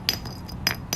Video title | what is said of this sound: 2nd bucket from Baton Rouge trip #cajunrockhound #thefinders #agates 100 + Crowley Ridge Agates | this thing here that sounds like glass